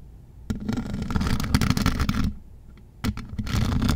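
A rhinestone-covered microphone's mesh metal grille is scratched with long metal nail claws on both hands. Two bursts of dense, rapid scratching and clicking are heard, from about 0.5 to 2.3 seconds and again from 3 seconds to the end, with a quiet low rumble between them. The sound is heavy in the low end, topped by bright, crackly ticks.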